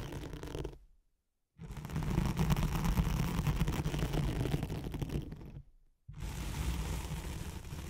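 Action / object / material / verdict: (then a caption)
scrape / nylon hook-and-loop sheet / nylon / none. Long glossy nails scratch with both hands across the hooks of a thin white nylon hook-and-loop sheet draped over a microphone. The result is dense, crackly, rumbling scratching, heavy in the low end. It comes in three stretches separated by two brief silences.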